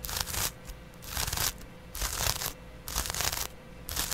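A flat, palm-sized yellow cellulose sponge, porous and soft, is held in one hand and scratched with the edge of a double-edge razor blade held in the other. Five bursts of bright, dry, crackling scratch noise are heard, each about half a second long and separated by quieter gaps. A faint steady hum sits underneath.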